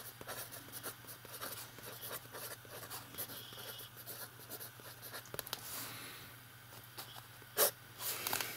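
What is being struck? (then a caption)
Metal pen nib on lined paper notebook page. A metal fountain pen writes on the page of an open lined paper notebook, its nib scratching across the paper in quiet, bright, rapid strokes. A steady low hum runs underneath, and near the end comes one louder, sharp scrape.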